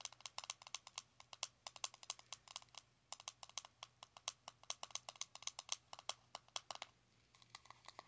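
Long nails tap quickly on the lid of a small round plastic blush compact with a metallic rim, resting on fabric. About 48 crisp, bright, very short clicks come in an uneven rapid patter with brief pauses near 3 and 7 seconds. Each tap dies away almost instantly at a quiet level.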